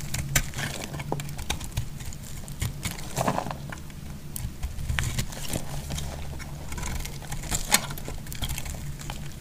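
A solid yellow bar of soap, held in the hand, is shaved with a utility knife blade and crumbles. Sharp, dry scraping clicks and crackles come in a rapid, irregular stream over a low rumble, with brighter flakes snapping off throughout.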